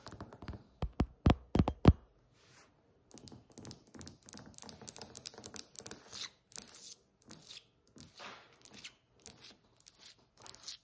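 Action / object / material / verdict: tap / polished granite countertop tapped with nail tips / granite / none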